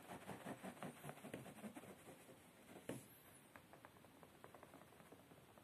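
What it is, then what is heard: Upholstered fabric chair seat. Fingertips and short nails scratch and tap on a beige woven fabric padded chair seat. Soft, muffled scratching with a low, papery texture fills the first half, followed by a sharper single tap near the three-second mark. Quieter, irregular light taps and scrapes follow after it.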